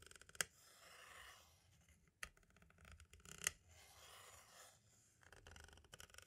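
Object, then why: Plastic audio cassette shell. The pointed tip of a green-striped tool scratches and taps across the label of a small, hollow white plastic audio cassette shell. Soft, bright scratching sweeps alternate with three sharp, crisp taps that die away almost instantly, followed by a run of quick light ticks at the end.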